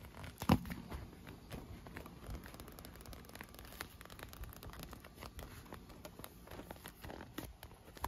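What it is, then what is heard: Inflated vinyl pool lounger. Short nails and fingertips tap and scratch along the tubes of an inflated, air-filled striped clear PVC vinyl pool lounge that is wet with droplets. One sharp, louder tap early on is followed by a steady stream of soft, crackly scratching and light tapping with a low, hollow body.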